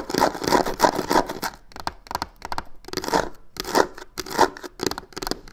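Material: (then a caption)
Faux leather. Long fingernails on both hands scratch the corner of a hollow box covered in black crocodile-texture faux leather. The result is bursts of dry, crackly scraping at an uneven, fairly quick pace, with bright raspy texture and no lingering ring between strokes.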